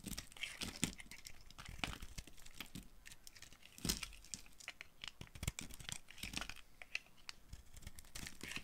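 A dry, solid pink-and-white marbled bar of soap held in the hand is carved with a utility knife blade. A steady run of dry scraping and crumbling crackles comes through, with bright, crisp flakes over occasional soft low thuds as pieces break away.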